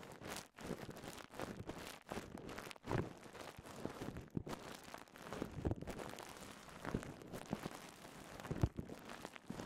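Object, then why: Polyethylene bubble wrap. Crumpled clear polyethylene bubble wrap is held close and squeezed and popped with the fingers. Soft, continuous crinkling and rustling is broken by many sharp, quick pops scattered throughout. The sound stays quiet and close, with most of its weight in the low range.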